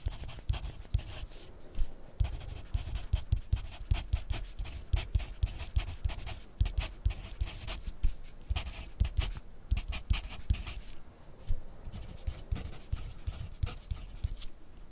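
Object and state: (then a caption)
Pencil writing on paper over a plastic clipboard. A yellow wooden graphite pencil writes in continuous handwriting strokes on grid-lined white paper clipped to a white plastic clipboard on a desk. Dense, rapid scratching comes through as short, dry strokes with bright, brushy edges over a low, thumpy undertone from the clipboard. The strokes rise and fall in loudness steadily throughout, with no pauses.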